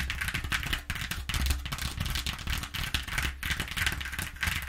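Long nails of both hands tap and scratch rapidly across the exposed flutes of a flat corrugated cardboard sheet. The result is a dense, continuous stream of bright, crackly scratching and quick taps over a low hollow rumble, with brief dips between bursts.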